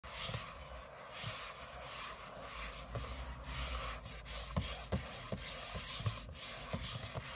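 Short fingernails and fingertips scratch across the aluminium lid of a closed space-grey MacBook lying flat on a table, its thin hollow shell giving a steady dry rubbing and rasping over a low hum. A few sharper, brief scratch clicks stand out in the second half.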